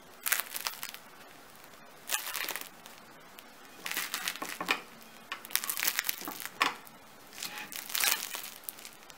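A freshly baked homemade bread loaf with a crisp crust is pressed and broken by hand. It gives bursts of bright crackling and crunching with short pauses between them. The crust sounds crispy, and the inside is soft and white.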